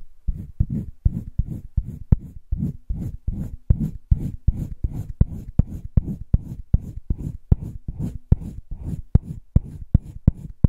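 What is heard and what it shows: A green wooden colored pencil, held in the fingertips, scratches and shades a flat sheet in a spiral-bound drawing paper sketchbook. The sound is a steady, rhythmic run of short back-and-forth strokes, each a soft, low, grainy rasp with a sharp tick at its start. The level stays even throughout the passage.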